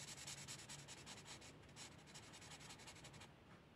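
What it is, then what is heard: Marker coloring on a paper page. A felt-tip marker rubs over a flat paper coloring book page lying on a table, coloring in blue ink with short strokes. Soft, bright scratchy swishes repeat quickly and unevenly, then trail off more quietly near the end.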